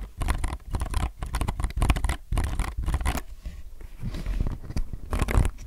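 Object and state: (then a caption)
Mechanical keyboard with plastic keycaps. A low-profile mechanical keyboard with plastic keycaps is handled up close as hands rest on it, rub and press the keys, then grip its sides. Soft, rapid clacks and scratchy rubbing come in dense bursts with a deep, thumpy low end and brief, dry decays.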